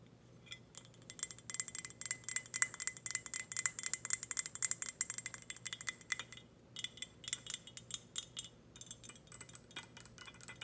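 Long red nails tap rapidly on the body and lid of an empty, glossy black ceramic teapot. The result is a quick, irregular stream of bright, high-pitched clicks with very short ringing, with a brief pause about two-thirds of the way through.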